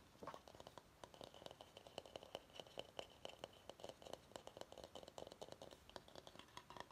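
Fingernails scratch and tap the outer base of a medium, empty bamboo bowl in a quick, uneven patter of dry clicks and scrapes. Each tap gives a short, hollow knock centred around 555 Hz with a faint ring near 3 kHz that dies away almost at once. The whole clip is quiet, with little low end.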